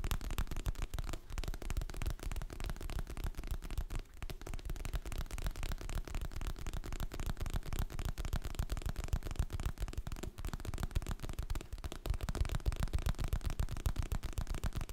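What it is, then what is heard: Hardcover book tapped with fingertips and nails. Fingertips and nails tap quickly on the glossy printed cover of a solid, medium hardcover book held in both hands. The result is a dense, steady stream of soft, dull taps, heavy in the low end with little brightness, each tap dying away almost instantly, continuing at an even level throughout.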